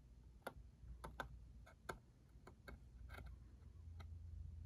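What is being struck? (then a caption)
Small cardboard box. Fingertips tap on the top and barcode side of a small, hollow, cube-shaped cardboard ink cartridge box. The result is a series of short, dry, irregular ticks over a steady low rumble, with each tap dying away almost instantly.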